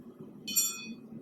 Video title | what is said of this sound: Basic Forge Welding | that nice clean ring basically tells me that there are no inclusions